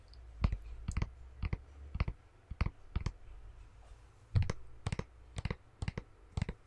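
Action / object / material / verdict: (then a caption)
tap / small plastic tub filled with slime / plastic / none. A small clear plastic tub with a printed label, full of green slime and held in one hand, is tapped with fingernails, then moved near the microphone at the end. Sharp, bright clicking taps come in irregular clusters over a low, boomy rumble, with each tap dying away almost at once.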